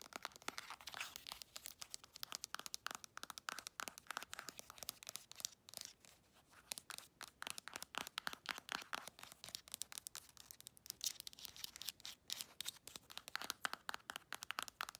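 Long acrylic nails rapidly tap and scratch a hand-sized, partly full Palmer's cocoa butter cream tube made of soft, squeezable plastic. The result is a quiet, dense stream of crisp, dry clicks and scratchy crinkles, bright and thin with almost no low end, with brief pauses between bursts.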